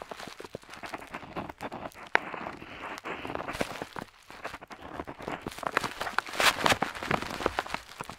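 A metal dip pen nib scratches across a flat paper map sheet, seen up close while lettering. Dense, dry scratching strokes come in quick bursts with sharp ticks and bright, papery rasps. A few louder scrapes stand out near the end.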